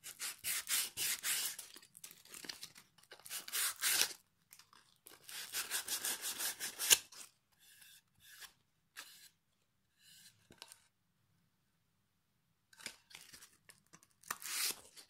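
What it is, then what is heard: Pine board being sanded. A solid pine plank with a dark knot, held in one hand, has its face rubbed with sandpaper. Quick runs of bright, raspy scratching strokes come in bursts, then give way to softer, scattered scrapes and a long quiet gap before a final few strokes. The sound is almost entirely high, with no low-end body.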